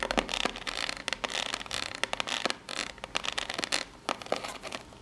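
Long natural nails scratch up and down the ribbed face of a small rectangular corrugated cardboard box held in both hands. Dry, bright, crackly scraping strokes come in quick, uneven bursts with sharp ticks between them. Each sound stops almost instantly, with almost no low end.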